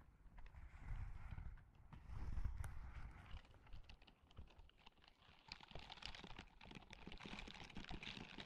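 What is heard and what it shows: Long manicured nails scratch and rub the bristled palm of a white and grey silicone dish-scrubbing glove worn on one hand and held close to the microphone. The result is a soft, dense bed of scratchy friction with low, muffled rumbling swells and quick, dry ticks, growing brighter and more crackly toward the end.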